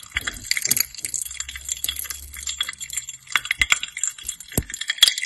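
Long painted nails tap and click on the rim and side of a small, clear, hollow glass tumbler partly filled with dark red liquid. The result is a quick, irregular series of bright, glassy clicks and chinks that die away almost instantly, with very little low end.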